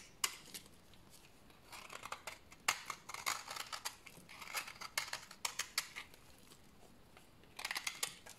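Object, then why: Bar of soap scraped with a blade. A solid, dried brown bar of soap is shaved with a utility knife blade and then broken apart by hand. Quick, dry, bright scraping and crackling bursts come in irregular clusters of sharp ticks with almost no low end. The clip ends in a final flurry of crisp snapping.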